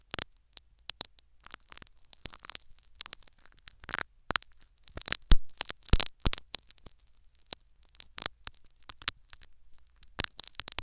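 Syringe needles jab and tear at a foam sponge plug seated in the canal of a silicone ear microphone. Sharp, dry crackling pricks and scratchy tearing bursts come in quick irregular clusters. A faint low rumble runs underneath, and a few louder scraping bursts land around the middle.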